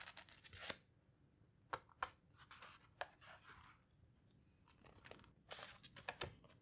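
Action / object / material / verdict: scrape / hardcover book with thick paper pages / paper / none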